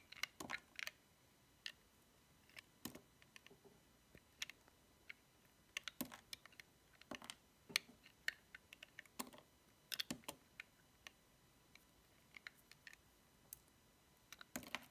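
A small, solid, cream-white bar of dry soap with a paw decoration is held in fingers with painted nails while thin curls are shaved from it with a metal utility knife blade. Dozens of short, crisp, bright clicks and scrapes come in irregular bursts over quiet silence. Each one stops almost at once.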